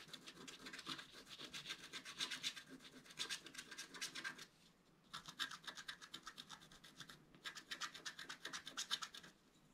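A wooden stylus scratches dense back-and-forth strokes over the squirrel area on the left of a flat scratch art card made of black-coated paper over metallic foil. The rapid, bright, dry scraping comes in three bursts separated by brief pauses.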